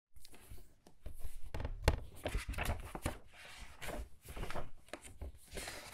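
Thin printed paper pages of a large, thick hardcover book lying open on a wooden table are turned and flipped quickly by both hands with long red-painted nails, then smoothed down with the fingertips. The result is a steady run of crisp, papery swishes and rustles, broken by soft, low thumps as each page settles against the table.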